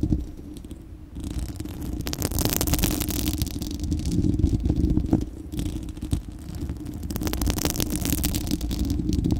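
Long acrylic nails on both hands scratch across a bare, hollow, fist-sized spherical steel wire-mesh microphone grille. The result is a dense, continuous scratching rumble, heavy in the lows, with bright crackling bursts. It starts quiet, grows louder after about two seconds, dips briefly around the middle, then swells again.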